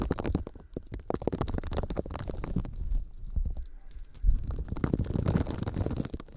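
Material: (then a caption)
Polymer foam. A hand-sized, solid, textured yellow smiley-face Scrub Daddy sponge made of polymer foam is squeezed and rubbed with fingertips close to the microphones. It makes a dense, low, rumbling crackle of rapid scratchy squeaks and rubs, with a brief quieter gap before the friction swells again.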